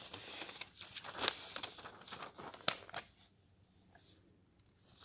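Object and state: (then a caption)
Thin paper book pages being turned. Fingertips lift and turn the thin, glossy paper pages of an open softcover guidebook, making the pages flutter. For about three seconds there is a bright, dry rustling and crinkling with two sharper crisp snaps. It then falls to near quiet with only faint soft swishes of paper.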